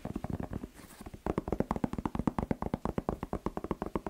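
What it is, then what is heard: Bell pepper, hollow. A whole fresh red bell pepper, hollow with waxy skin, is held and tapped fast with fingertips and nails. About 30 quick, dry, hollow taps with a low pitch near 234 Hz come in rapid bursts, with a brief softer stretch just before the one-second mark. Each tap dies away almost instantly.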